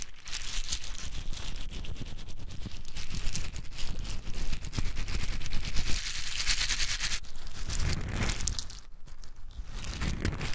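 Small, hard-shelled whole pine nuts are poured and rubbed between bare fingers close up. A dense, continuous rattle of crisp clicks and crackles runs throughout over a heavy low rumble, easing slightly near the end.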